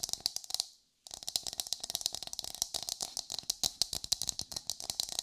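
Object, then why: Whole coconut, fibrous hard shell. Long white nails rapidly tap and scratch the fibrous hard shell of a whole brown coconut held in the hand, which gives a hollow sound. The sharp, bright clicks come in quick, uneven bursts, broken only by a brief silence near the one-second mark.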